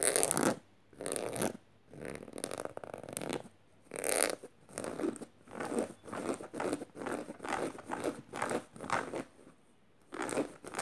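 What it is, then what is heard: Studded canvas tote bag being scratched. Spread fingers with red-painted nails scratch across a black canvas tote bag and its metal studs. The result is repeated bursts of dry, rasping scratches with a bright, hissy top, separated by short silent pauses.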